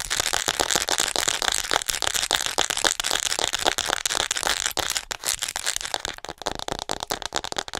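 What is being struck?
Plastic acupuncture model figure.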